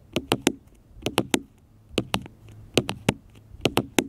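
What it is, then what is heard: Smartphone tapped with fingertips. Fingertips and nails tap repeatedly on a small black smartphone with a glass screen and plastic case, lying flat on a metal mesh picnic table. Fourteen short, dry taps come in quick clusters of two or three, each with a crisp bright click over a soft low knock and almost no ring.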